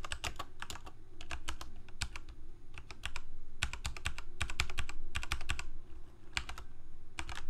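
Both hands type rapidly with fingertips on a full-size black plastic Corsair K68 mechanical keyboard with Cherry MX Red switches and blue backlit keycaps, resting on a white desk. Quick, short, bright clacks come in uneven bursts with brief pauses, over a steady low hum.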